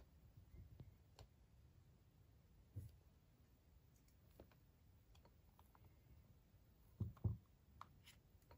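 An unwrapped, hollow, hand-sized milk chocolate Kinder egg with a visible seam is held in both hands while fingertips and short nails tap and scratch its surface. Soft, dull clicks and light scratching sound over a quiet, low background, with two louder, deeper taps close together near the end. Each tap dies away almost at once.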